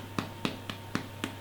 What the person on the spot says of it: when you tap the bottom of a bun, it should sound quite hollow, and that's a good way to tell that they're ready.